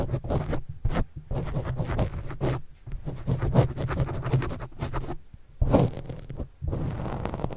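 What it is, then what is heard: Stylus scratching a foam mic windscreen. A white stylus pen tip scratches and writes across a black foam windscreen on a microphone. It makes close, muffled rasping strokes, heavy in low rumble with little brightness, coming in uneven fast and slower bursts separated by brief pauses.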